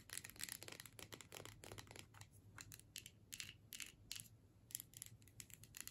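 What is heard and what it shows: Long nails tap and scratch across the label and metal screw cap of a filled plastic tube. The result is a quiet, rapid run of dry, bright clicks and crinkly scratching bursts over a faint low hum.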